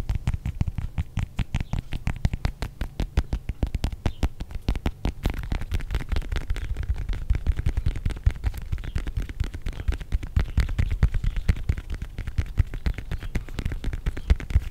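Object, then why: Whole fresh orange. A single whole fresh, palm-sized orange with a solid, textured peel is held in one hand while fingertips and nails tap and scratch the peel close to the microphone. The result is a rapid, continuous stream of short, dull, low thumps with a faint bright scratchy edge, each dying away almost instantly.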